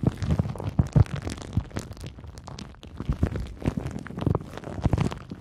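A crumpled sheet of clear pink plastic bubble wrap is held in both hands while long nails squeeze, crinkle and scratch it. Dense, dry crinkling and crackling runs throughout, with sharper pops and thumpy low-heavy bursts rising out of a steady rustle. Each crackle stops almost instantly, with no ring.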